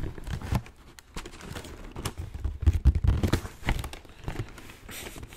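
Fingertips tap and scratch the lid of a large black shoe box made of hollow, rigid cardboard, held in the hands. The taps come as a quick, uneven series of dull, low thuds with very little ring, mixed with dry, crinkly scratching.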